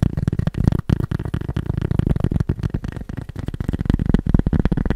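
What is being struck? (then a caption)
Cork surface. Fast tapping on cork produces a dense stream of short, dull taps, each dying away almost at once. The sound is low and muffled with almost no high-frequency content, and the pace is rapid but uneven.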